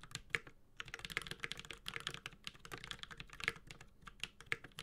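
A Space65 Cybervoyager 65% mechanical keyboard, with a white-gold aluminum case, carbon fiber plate, plastic keycaps and tactile Holy Panda switches, is typed on steadily with the fingertips of both hands. It produces a fast, continuous run of short, bright clacks with very little low end, and each keystroke dies away almost instantly. There is a brief lull near the start, and the keystrokes vary slightly in loudness.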